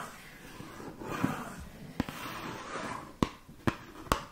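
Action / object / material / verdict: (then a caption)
tap / small cardboard box / cardboard / none. A small, hollow, light blue-green rectangular cardboard cosmetics box is held in one hand close to the microphone and tapped and scratched with long painted nails. Soft, hissy scratching runs throughout, broken by five short, dry, hollow taps that die away almost at once.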